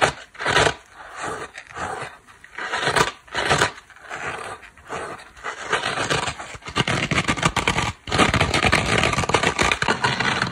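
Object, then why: Foam kitchen sponge with abrasive scouring pad. Long black nails scratch a small, dry, layered dish sponge made of yellow foam, a black scouring pad and blue cloth. Separate rasping strokes across the yellow foam give way to a denser, continuous gritty scratching on the black abrasive face. The scraping is crisp and bright, with little low end.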